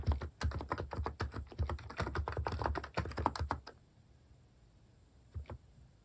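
Fingertips type steadily on a plastic mechanical keyboard with cat keycaps, making a rapid run of short, dull, low-heavy key clacks that stop abruptly after about three and a half seconds. After a quiet pause, a couple of soft key taps follow near the end.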